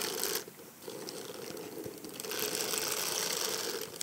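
A black silicone bristle brush is scrubbed and scratched over the back and side of a small, hollow, egg-shaped hard-shell evening clutch in faux leather, with a cream shimmery textured covering and a silver metal frame. The result is a dense, bright scratchy rasping with a ratchet-like texture that dips briefly before returning fuller and steadier.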